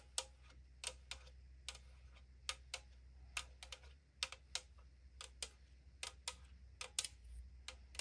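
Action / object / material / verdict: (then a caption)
tap / aluminum drink can / aluminum / none. Long nails tap along the side of a tall AriZona aluminum drink can resting on a wooden surface, making about 20 sharp, bright metallic ticks at an uneven pace. Each tap dies away almost instantly over a quiet, steady low hum.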